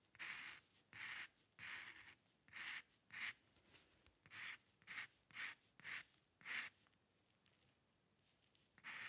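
A metal dip pen nib scratches short strokes near the edge of a sheet of white drawing paper while the other hand holds the sheet. A series of bright, dry scratching bursts sit mostly in the upper-mid and high range, separated by brief near-silent pauses. The strokes thin out toward the end, leaving a longer quiet gap before one last scratch.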